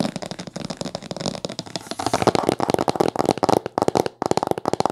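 Long fingernails tap and scratch quickly on the top cover of a thick, dark blue cloth-bound hardcover book with gold spine decorations lying flat. The result is a rapid, dry string of short clicks and scratchy rustles, with a brief pause just after four seconds.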